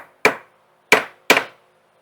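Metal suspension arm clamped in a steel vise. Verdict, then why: Solid. A metal suspension arm set on a hard backing in a vise is tapped three times with a hammer on its center, giving bright, sharp metallic knocks with a short ring. The solid sound carries through the vise, showing the part is firmly supported before its bushing is tapped in.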